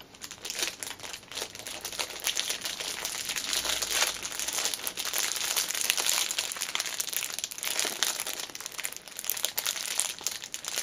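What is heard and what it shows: A small black fabric pouch wrapped in clear cellophane, first lying flat on a cushion and then held upright in both hands, is squeezed and scratched by long nails on the crinkly wrapper. The result is a dense, bright, continuous crinkling and crackling with sharp little snaps and almost no low end, swelling and easing for about eleven seconds.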